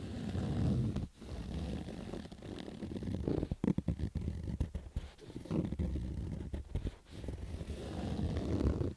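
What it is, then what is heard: Fabric baseball cap being scratched. Fingers and nails scratch and rub across the stitched rows of a black Adidas fabric baseball cap. The sound is a dense, muffled, low-heavy rasping with irregular bursts of quick scrapes and short dips near one second and seven seconds.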